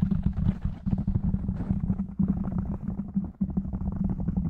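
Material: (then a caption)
Foam. Fingertips of both hands tap quickly on a black foam windscreen over a microphone, then one hand covers and rubs the foam. The result is a dense, rapid stream of muffled, boomy thumps and soft scratchy rustle, heavy in the low end with a steady low tone, with no bright edge and brief dips between bursts.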